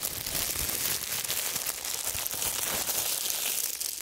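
A loosely bunched wad of thin, clear, wrinkled plastic wrap is crumpled and squeezed by fingertips in fingerless gloves close to the microphones. It produces a dense, continuous bright crinkling and crackling, with sharp high snaps riding over a steady hiss and almost no low end.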